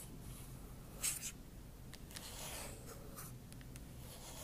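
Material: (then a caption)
Aluminum. Long acrylic nail tips scratch the aluminum palm rest beside the trackpad of a silver MacBook Pro. Quiet, bright scraping strokes rise over a low steady background hum, with a sharper, louder scratch about a second in. Fainter strokes follow.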